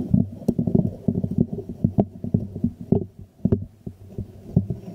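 A small hollow white ceramic jar is held upside down in both hands over a microphone while fingertips and nails tap and scratch its glazed ceramic base and sides. Quick irregular taps make dull, hollow, low-pitched knocks that die away almost instantly, with a few sharper clicks and soft scratching between them.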